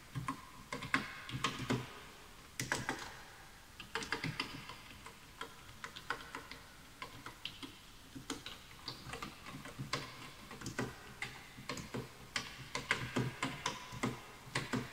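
Fingertips type on the letter keys and right-side keys of a full-size bamboo wood computer keyboard with wooden keys, while the mouse goes untouched. Dozens of short, dry, hollow clacks come in irregular bursts and pauses, each dying out almost at once with a bright click on top of a woody body.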